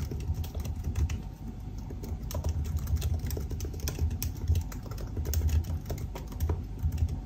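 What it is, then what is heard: Laptop keyboard with plastic keys. Fingertips type steadily on the black plastic keys of a silver aluminium laptop, making a fast run of short, crisp key taps. Each tap is a brief, bright click over a constant low rumble that carries most of the sound, and the clicks die away almost at once.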